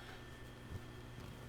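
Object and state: Nothing is struck.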